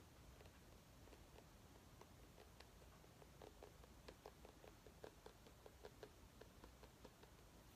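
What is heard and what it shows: A small orange mini pumpkin is held in the hands and tapped lightly with long nails. It makes a quiet, steady series of short, hollow clicks with a mid-pitched knock and a bright tick on top. The taps die away almost at once over a low, rumbling background.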